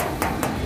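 Three knocks on a bare steel Feroza body panel with no body filler give short, hollow, metallic taps with a midrange ring around 617 Hz that dies away quickly. The hollow sound indicates bare sheet metal with no filler underneath.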